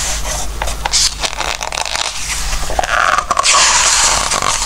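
Fingertips rub and scratch along the glossy paper pages of a Christmas book, on its patterned pages, and turn them. Bright, dry papery scratches and rustles come in quick, irregular strokes over a faint low hum. A louder, sustained sweep of the page turning follows.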